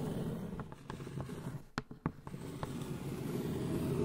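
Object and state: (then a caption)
Cardboard gift box with foil lid. A medium, hollow polka-dot cardboard gift box with a shiny foil-covered lid is tapped and scratched on top of the lid by long blue nails. Quick, soft taps, with sharper clicks near the middle, sit over a low, steady rustling murmur.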